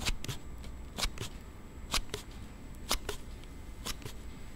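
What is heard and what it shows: A thumb slides a plastic slide case on a Note7 smartphone open and closed, making short, bright rubbing clicks that come in pairs about once a second. The clicks sit over a low, quiet background hum.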